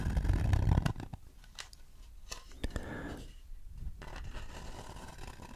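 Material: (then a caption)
Wood. Fingertips scratch the inside surface of a shallow, empty wooden bowl held beside the face and then turned to face the camera. A louder, low rustling opens the clip, then gives way to soft, dry scratching with scattered sharp ticks and brief bright scrapes.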